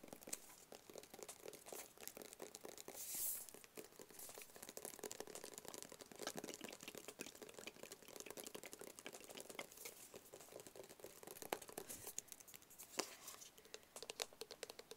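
Fingertips and short nails tap rapidly on a small black, branded, rigid cardboard box that is hollow and closed. The steady stream of quiet, dry, bright clicks and light scratches carries a faint hollow tone around 390 Hz, with almost no low end and a very short ring after each tap.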